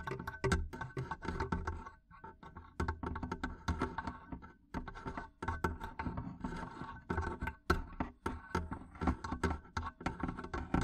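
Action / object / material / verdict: tap / wooden barrel chest lid / wood / none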